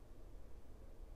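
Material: Nothing is struck.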